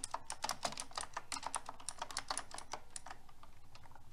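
Fingertips with long red nails type on pink round plastic keycaps of a silver metal-frame mechanical keyboard. A quick, steady run of crisp, clacky keystrokes follows, each a short bright click with little ring-out.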